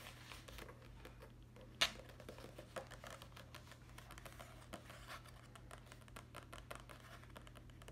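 A small, solid, closed hardcover notebook with a cardboard cover and paper-page edge is held upright while long acrylic nails tap and scratch across its cover and page edge. Quiet, dry, bright scratching and light clicking patter continues throughout, with one sharper tap standing out early on, over a steady low hum.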